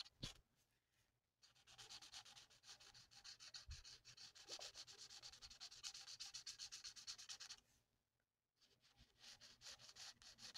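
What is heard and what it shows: The felt nib of a plastic alcohol marker is rubbed in rapid back-and-forth strokes across a thin, flat sheet of printed paper on a table while colouring a mandala. The result is a bright, hissy scratching that runs steadily, then pauses briefly near the eight-second mark before starting again.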